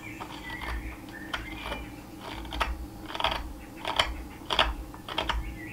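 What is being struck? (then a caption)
Cherry wood blank scraped by a steel knife. A steel carving knife shaves and scrapes the edge of a solid, flat, narrow cherry wood spatula blank, held in a gloved hand against a leather apron. It makes a series of short, crisp, dry scraping strokes with a bright rasp, each fading almost at once over a soft low rumble.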